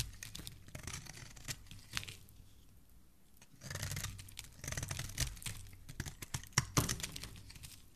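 A metal blade shaves curls off the surface of a solid green soap bar with an embossed pattern, held in the hand. Dry, crisp scraping and crackling strokes come in bursts, with a near-silent pause in the middle and a few sharper snaps near the end.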